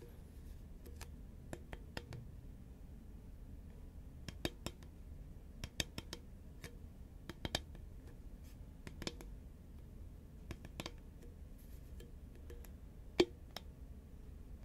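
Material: Paperboard.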